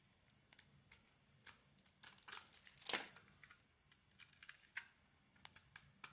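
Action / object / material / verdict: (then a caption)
scrape / soap bar / soap / none. An oval solid soap bar, purple with gold glitter and a cream interior, is shaved with a utility knife blade. Quiet, bright, crisp scraping clicks and crackles come in a sparse series, with a longer, louder shaving stroke near the middle.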